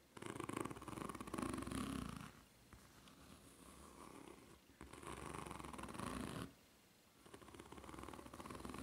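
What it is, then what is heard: Rubber flip-flop sole. Long red-painted nails scratch and tap across the serrated surface of a white ridged rubber flip-flop sole with red dots, held bottom-up on a table. Dense, rapid scratching comes in loud bursts that alternate with softer passages of lighter raking and ticking. The sound is bright and gritty, with a low rumble under the louder bursts.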